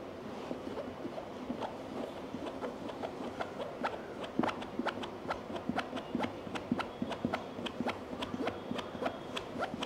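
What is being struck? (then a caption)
Molded EVA headphone case. Fingertips and nails of both hands tap across the domed lid of a medium, hollow, black molded hard-shell EVA headphone case. A steady run of short, crisp clicks with a hollow, low-mid body dies away almost at once, and it grows slightly louder and denser in the second half.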